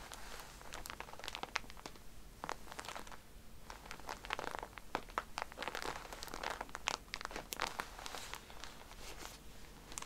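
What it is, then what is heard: Plastic-wrapped pack of cotton pads. A pack of cotton pads in a plastic wrapper is tapped with fingernails and squeezed by hand. It gives a steady stream of sharp, bright crinkles and crackles, with brief taps scattered throughout the ten seconds over a low background hum.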